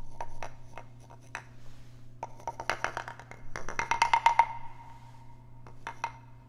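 A small, hollow, carved wooden frog guiro is tapped and scraped along its ridged back with a wooden stick held close to the microphones. Sharp, hollow wooden knocks with a tone near 930 Hz alternate with quick rattling runs of clicks from the scrapes, all over a faint steady low hum. Each knock dies away almost instantly.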